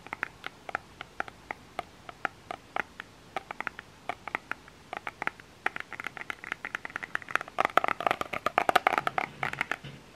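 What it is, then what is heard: Plastic lotion bottle. A small plastic lotion bottle with an orange cap is tapped and scratched with fingernails on its label. Sharp, dry clicks are spaced apart at first, then grow quicker and denser, with faint scratchy texture toward the end.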